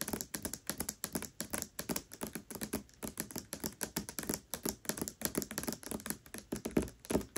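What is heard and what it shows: Long nails rapidly tap the glossy paper dust jacket of the hardcover book *Tress of the Emerald Sea* lying flat. About fifty dry, clicky taps sound in quick, uneven bursts, each with a warm low thump near 240 Hz and a crisp, bright top. Every tap dies away almost at once.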